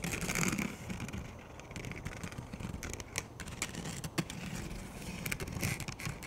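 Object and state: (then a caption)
Plastic frisbee disc. A plastic frisbee disc is held edge-on and flat while fingers tap and scratch its rim. The result is a dense run of short, dry clicks and scrapes with a hollow low body and bright crackling edges, fading and swelling over a few seconds.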